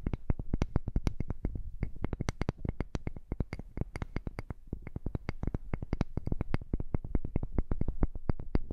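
Long nails tap rapidly and continuously on a palm-sized solid wooden heart-shaped block with visible light grain, held in both hands above a microphone. The taps are short, dry knocks with a deep, low thud and a light clicky edge, each dying away almost instantly, at a steady soft level throughout.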